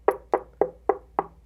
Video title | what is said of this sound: Custom Stands for JBL L100 Classic 75th Speakers | the cabinet is not totally dead by any means